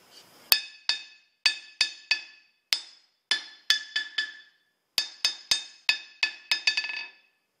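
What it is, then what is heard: Steel anvil. A large solid steel blacksmith anvil sitting on a wooden block base is struck on its face with a wooden-handled metal hammer held in one hand. Repeated sharp blows ring out as bright, high metallic clinks, each decaying quickly. The strikes come at an uneven pace and bunch closer together at the end.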